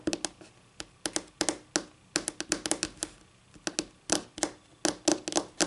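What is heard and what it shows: Long painted nails, from one or both hands, tap on a solid, flat white wood-grain laminate tabletop. The result is a quick, uneven run of crisp, bright clicks, some in fast clusters, each with a faint hollow tone near 300 Hz. Every tap dies away almost at once, with almost no low end.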